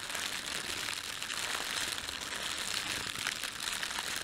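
A red-and-white printed thin plastic bakery bread bag is crumpled, squeezed and stretched with both hands. It gives a continuous, dense crinkling with bright, high rustle and almost no low end, holding a steady level throughout.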